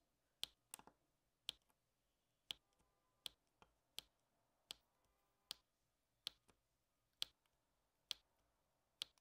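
A plastic drill pen taps black resin drills one by one onto the sticky surface of an adhesive diamond painting canvas. Twelve short, dry, bright clicks ring out in an uneven rhythm, each one sharp and instantly gone, over a faint quiet background.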